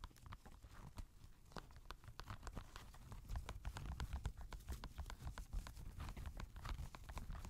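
A grey Adidas NMD knit-fabric sneaker, empty and lying on a lap, is tapped and scratched by fingertips across its knit upper and laces. Quick, dry rhythmic taps mix with soft scratchy rustling over a low, muffled thump. The hits grow denser and louder about halfway through.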